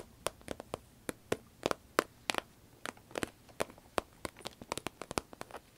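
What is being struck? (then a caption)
Small vinyl zip pencil case. A small, hollow, cylindrical sparkly green vinyl zip pencil case is held in the hand, squeezed and scratched with long red nails. About 22 sharp, dry clicks and crackly taps come in an irregular patter, each dying away almost instantly, with a bright edge and little low end.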